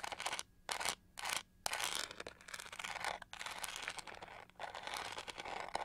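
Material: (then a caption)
Plastic. Long nails scratch along the textured edge and bristle base of a pink-gold plastic detangling hair brush held sideways. A few short bursts of bright, dry scratching give way to a steady, textured rasping that continues with brief pauses.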